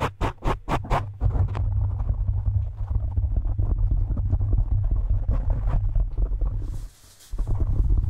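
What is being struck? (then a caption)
Foam microphone windscreen. Fingertips and short nails of both hands scratch and tap rapidly all over a soft, porous black foam windscreen covering the capsule of a handheld-size microphone. Five distinct, deep, thumping taps open the clip before giving way to a dense, boomy, muffled scratching rumble. The scratching pauses briefly near the seven-second mark, then resumes.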